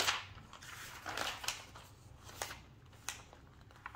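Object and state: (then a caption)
Glossy magazine pages being turned. An open glossy paper magazine with thin, flexible pages lies on a table while hands with long nails flip through the pages and smooth them down. Bright, crisp paper rustles and sharp page snaps cut through a soft, hissy background.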